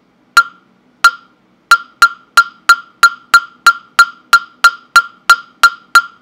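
A hollow carved wooden mokugyo fish block with a slot opening, held in hand, is struck with a small round-headed mallet, giving 17 sharp, dry knocks. Each knock has a clear hollow tone around 1.4 kHz with a bright click and dies away almost at once. The first few knocks are spaced apart, then they settle into a steady, moderately paced rhythm.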